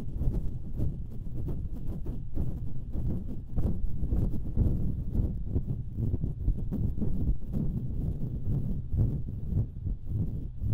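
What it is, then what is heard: Metal microphone grille being scratched. Long nails scratch the hollow metal mesh grilles of two identical stereo microphones. The result is a steady, dense, low rumbling scrape made of many quick, overlapping strokes, with almost no bright content.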